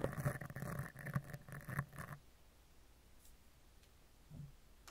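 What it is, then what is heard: Steel mesh microphone grille being brushed. A spoolie brush with a clear handle is rubbed over the upper left, then the upper right edge of a steel mesh microphone grille, making dense, low, scratchy rasping for about two seconds. Then it falls nearly silent, with a few faint brushes later.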